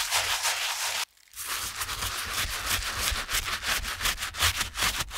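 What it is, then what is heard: Canvas shoe being scrubbed with a brush. A stiff-bristled brush held in a gloved hand scrubs the soapy heel area of a TOMS canvas slip-on shoe, brushing and rubbing the fabric. Bright, scratchy bristle strokes run steadily, stop for a brief moment of near silence around one second, then resume as a quick, uneven back-and-forth scrubbing rhythm.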